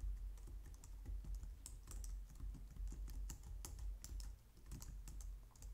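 Both hands type on a white plastic low-profile wireless keyboard using long painted nails and fingertips. The result is a steady, uneven stream of quick, bright clicks and taps over a low, soft rumble.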